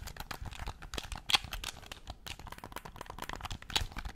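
A black plastic Nintendo Switch Pro-style game controller, hand-sized and hollow, is held in both hands near the mic and tapped and scratched quickly with pink-painted fingernails across its shell and buttons. A dense stream of short, dry, bright clicks and crinkly scratches runs throughout, with a couple of sharper, louder clicks standing out near the middle and end.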